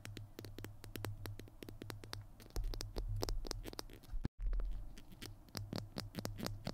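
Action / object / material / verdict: tap / small plastic glue stick tube / plastic / none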